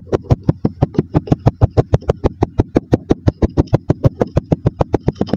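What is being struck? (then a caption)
Kinetic sand in a glass tumbler. A wooden dowel repeatedly presses and knocks down on layered yellow and maroon kinetic sand packed into a mostly full clear glass tumbler, compacting it. About 34 short, dull thuds come in a fairly quick, steady rhythm. Each thud is low and deep with a faint bright tick and dies away at once.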